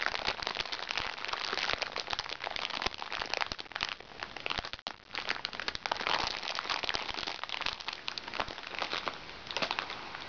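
A small, crinkly recycled plastic makeup bag is crumpled by hands while fingernails scratch across the plastic. Dense, bright crackling and crinkling runs for about ten seconds with almost no low end, dipping briefly to near quiet around the five-second mark before picking back up.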